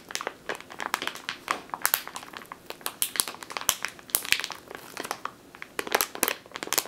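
Long teal nails squeeze and scratch a medium clear plastic bag with a purple label, full of flour or grain. The result is a steady stream of bright, dry crinkles and crunches, with sharp louder bursts spread over the clip and almost no low end.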